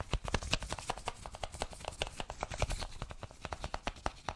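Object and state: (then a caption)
Cardboard product box. A small, hollow white cardboard Apple product box is turned in the hands while gloved fingers tap and scratch it. The result is a rapid, uneven run of short, dry taps, each with a low hollow thud and a bright papery click. Faint scratching fills the gaps between them.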